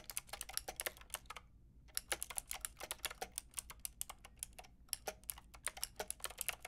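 A Lofree plastic mechanical keyboard with a plastic frame and round keycaps is tapped by fingertips with long red nails. About forty short, bright, clicky keystrokes come in quick bursts, with a brief pause near the two-second mark. Each click dies away almost instantly over a faint low hum.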